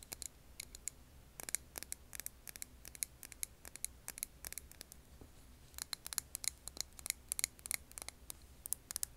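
Long nails tap a clear glass jar filled with green wax candle, producing rapid, irregular clusters of short, bright clicks that stop instantly with no ring. A faint steady low hum sits underneath the quiet taps throughout.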